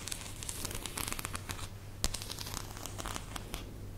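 Fingertips with short painted nails rub and flick across the edges of a fanned-out deck of thin coated-cardboard "The Mind" game cards held in one hand. The result is a continuous stream of quick, bright crinkling and riffling clicks over a steady low hum, with one sharper, louder flick about halfway through.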